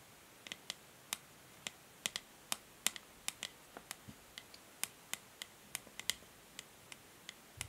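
Long nails tap rhythmically on the hollow grey matte plastic back of a plastic paddle hair brush, producing about two dozen quiet, dry clicks. Each tap is bright and sharp and dies away almost instantly, with little low end.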